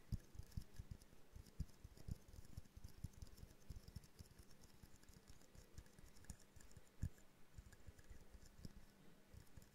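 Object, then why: Small glass jar ornament. Long painted nails tap rapidly on a small hollow glass jar snow globe ornament with a twine bow, held in both hands. The taps form a quiet, uneven patter of short, dull clicks that die away almost instantly, carrying mostly low, thumpy energy with a faint bright hiss over the top.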